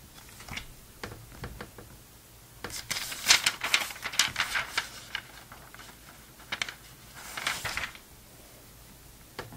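An open vintage glossy paper magazine, a November 2002 issue of Sports Illustrated, has its thin pages flipped and smoothed by the fingertips of both hands. Light, crisp paper ticks open the clip, then build into bright, papery rustling bursts as pages turn, with a second swell of sliding rustle near the end over a quiet background.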